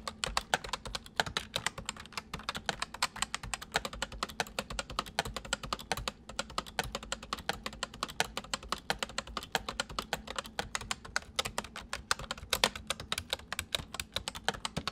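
Fingertips type steadily on a white full-size plastic mechanical computer keyboard, the left hand on the letters and the right hand on the numpad. The keys give a fast, continuous stream of short, bright clicks and clacks over a faint low hum.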